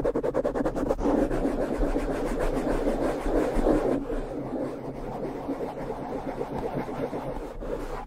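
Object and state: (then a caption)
Foam microphone windscreen being brushed. Fingertips of both hands brush and tap a small, soft, porous black foam windscreen fitted over the hollow head of a Blue Yeti microphone. The result is a close, muffled, low-to-mid rustling and thumping with no bright highs, opening with a quick run of soft taps. It then settles into steady dense brushing that grows slightly quieter and smoother after about four seconds.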